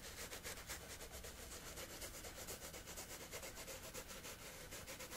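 Several fingertips rub and scratch across a flat sheet of coarse woven fabric. A quiet, continuous, bright scratchy rasp swells and fades in quick, even strokes, with a faint midrange tone and little low end.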